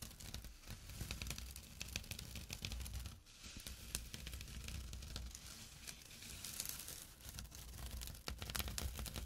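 Fingernails and fingertips scratch a small, flat, empty jute burlap drawstring pouch near its drawstring edge as it lies on dark cloth. The result is a steady, coarse scratching and crinkling with many quick, bright, papery rasps over a low rumble, dipping briefly around the three-second mark before continuing.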